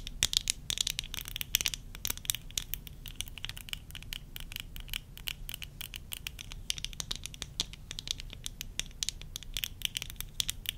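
Long nails rapidly scratch and tap the rims near the lenses and along the temple arms of worn tortoiseshell plastic eyeglasses. The result is a dense stream of dry, bright clicks and scratchy patters centered around 3.4 kHz, with no ring after each tap, over a faint, steady low rumble.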